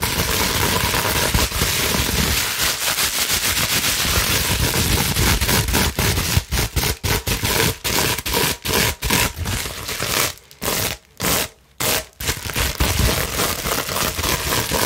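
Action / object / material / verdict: scrape / plastic bubble wrap sheet / plastic / none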